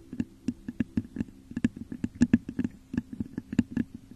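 Long nails scratch and tap the top of a hollow, textured clear glass vase turned upside down over a microphone. About two dozen quick, dry clicks and scrapes patter in an uneven rhythm, each carrying a brief low glassy tone around 234 Hz with a thin bright edge that dies almost at once.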